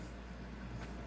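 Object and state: Nothing is struck.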